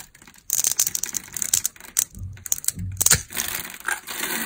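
A metal knife blade scrapes across the scored surface of a solid, oval, red translucent dry glycerin soap bar held in the hand, breaking off small cubes. After a brief quiet start, a rapid series of crisp, bright crunching and crackling clicks follows, with a little low thump beneath, each snap dying away almost instantly.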